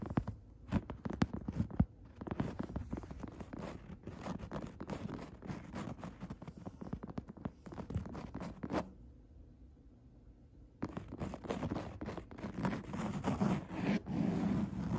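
Long red nails scratch and tap across the surface of a padded woven fabric chair seat, making dense, uneven soft scratching and muffled tapping that is mostly low and dull. The scratching pauses for about two seconds near the middle, then resumes slightly louder.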